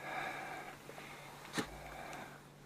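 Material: Nothing is struck.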